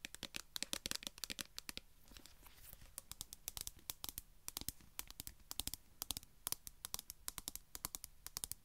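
A small, flat metal food tin with a pull-ring lid is tapped and scratched with long nails. The result is a rapid, irregular run of sharp, bright clicking taps over a soft, papery scratching hiss, each tap dying away almost instantly.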